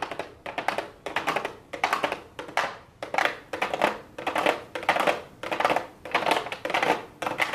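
Long blue acrylic nails tap and scratch a pink cardboard palette box with a clear plastic window lid lying on a desk. Short bursts of rapid, light clicking taps and brief scratches repeat with small gaps between them. The sound is bright, with little low end.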